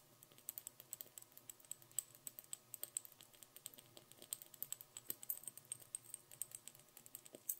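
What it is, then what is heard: Bead-covered glass Christmas ornament. Long nails rapidly tap and scratch the beaded top of a small hollow glass Christmas bauble that has tiny pearl beads glued on its top half and white fluff inside. About 58 quick, dry, bright clicks sound in a fast irregular patter, each dying away almost instantly, with very little low end beneath them.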